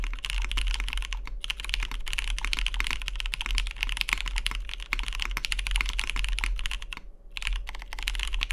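Fingertips type continuously on a Matrix 2.0OG Cyan tenkeyless mechanical keyboard with lubed vintage MX Brown switches, a cyan anodized aluminium case and cream plastic keycaps, resting on a deskmat. Dense, short, bright clacks centered around 2 kHz run over a steady low hum, with brief pauses near 1.3 and 7.1 seconds.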